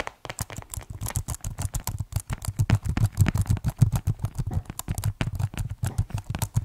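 Fingertips type quickly on the keys of a white plastic keyboard case, producing a fast, uneven run of short, dry taps. The clicks are deep and muffled, with a low thock around 125 Hz, little bright edge, and almost no ring after each key.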